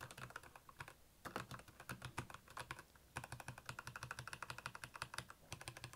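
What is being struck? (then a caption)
Plastic mechanical keyboard. Fingertips type rapidly on the keycaps of a black backlit plastic mechanical keyboard. Dense bursts of clicky, clacky keystrokes come with short pauses near one second and three seconds. Each key strike has a low thock and bright click.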